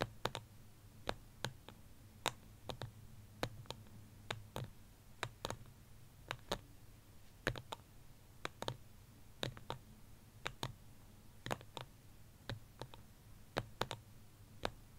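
Fingertips and nails tap quickly on the wall of a small white ceramic plant pot holding a succulent, resting on a blanket. Around 38 short, sharp, bright clicks with almost no ring come at an uneven pace over a steady low hum.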